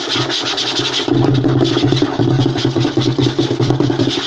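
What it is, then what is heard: Wooden table top. Short fingernails and fingertips of both hands scratch and tap fast across a flat, light-colored wooden tabletop, a solid surface that may be veneer. The result is a dense, continuous patter of dry scratches and quick taps with a bright rasping edge over a low, resonant woody hum. The sound grows fuller and louder after the first second.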